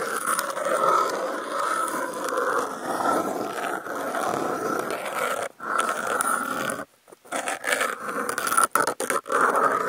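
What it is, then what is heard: Corrugated cardboard scratched with toothpicks. Wooden toothpick tips are slowly scratched across a brown corrugated cardboard panel with contact mics clipped to its edge. The result is a continuous, gritty midrange rasp that sounds almost like a growl. It breaks off in a short pause around 5.5 seconds and a longer gap near 7 seconds, then resumes in uneven strokes.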